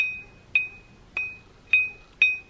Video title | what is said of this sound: Can we make this knife sharpener better? Tool Time Tuesday | if there's a crack in the stone you don't get that ring